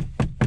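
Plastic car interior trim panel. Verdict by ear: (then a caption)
Cheap. Knocks on a plastic interior trim panel in a 9th-generation 2012 Civic Si give two dull, low, hollow thuds with almost no high end and a very short ring. The trim still sounds cheap and thin despite the 75 pounds of sound deadening added inside the plastic and the whole car.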